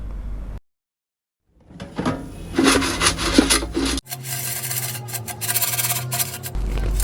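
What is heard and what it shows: Air-fried potato fries, cooked at 200 degrees for about 10 to 12 minutes, are tossed and flipped in the air fryer basket. After a short silence, a dense, rustling crunch and scrape of the fries moving against each other and the basket builds up and continues. The crunching shows the fries came out crispy.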